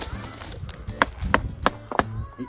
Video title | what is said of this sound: Rockhounding Middle Peak Quarry | It sounds hollow, can you hear that?